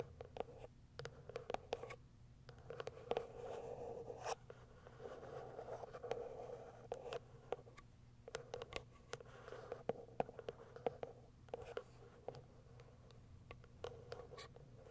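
Long acrylic nails scratch and tap the lid and sides of a small white cardboard product box resting on fur. Soft, dry scratching runs under many crisp, short taps that die away almost instantly. The sound is quiet and centered in the midrange, around 500 Hz.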